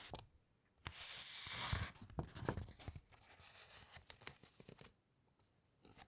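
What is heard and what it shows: Long white nails and fingertips lightly rub and scratch along thick uncoated encyclopaedia pages as the pages are turned, close up. A soft, bright, broadband rustle swells for about a second, then gives way to a loose series of short, crisp scratches and taps before fading to quiet and a final light brush.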